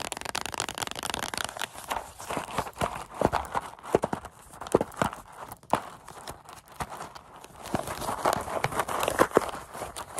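A small, hollow paperboard Goldfish cracker carton is held up close and tapped and scratched with long acrylic nails, then gripped and squeezed with the fingers. The result is a rapid, uneven run of short, dry hollow taps with a midrange knock, mixed with papery scratching and crinkling rustle.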